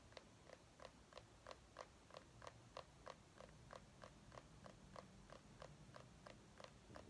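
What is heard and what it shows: Long painted nails of one hand tap a small white ribbed mini pumpkin held in the other palm. They make 20 quiet, short, crisp clicking taps at a steady pace of about one per second. Each tap has a hollow mid-range knock and a bright edge that stops at once, over a soft low background hum.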